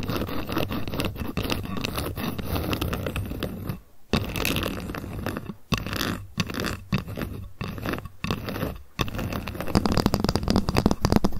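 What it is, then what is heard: Ruler tapped with fingernails. A ruler is tapped rapidly with long fingernails, producing a dense, continuous stream of short, dry clicks and scratchy scrapes. Brief pauses break up the tapping, and the sound stays mostly low and dull with little ring.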